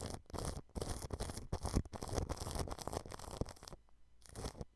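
A thin paintbrush strokes clear cling film stretched over the mesh of a white dome microphone. It makes irregular bursts of crinkly, scratchy brushing with a heavy low rumble and a bright hiss on top. The strokes go quiet briefly near the end before one last burst.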